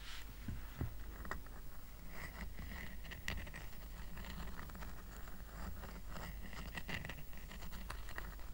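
A small, round, flat woven rattan coaster resting on a blanket is held in one hand while the fingertips and short nails of the other hand scratch its woven surface. The result is a quiet, continuous dry scratching and rustling with faint bright ticks and occasional sharper clicks over a steady low rumble.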